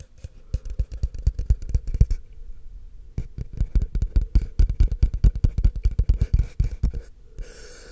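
Fingertips and short nails tap and scratch the side of a tall, empty, hollow, frosted translucent plastic cup held upside down in one hand. Rapid bursts of dull, low, hollow taps die away almost instantly, pausing briefly before resuming in a dense run. The clip ends with a soft, bright scratching rustle.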